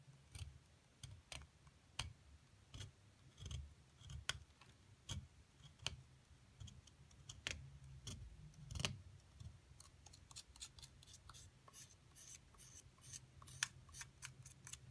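A thin metal pick scrapes and chips at the surface of a rectangular solid white plaster excavation dig-kit block, held flat by one hand with long nails while loose plaster dust falls around it. Sharp, dry, bright ticks and scratches sound in an irregular series that grows quicker and denser toward the end. Beneath them runs a soft low rumble.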